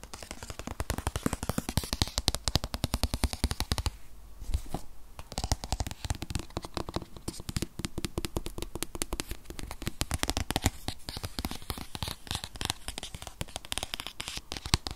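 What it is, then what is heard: Cardboard product box, fingernail tapping. Very fast fingernail tapping on a rigid white paperboard iPad box, tablet-sized and holding an 8th-generation iPad, makes a dense stream of short, dry clicks with a low thump underneath. The rapid taps run almost continuously, briefly thinning out around the four- to five-second mark before resuming.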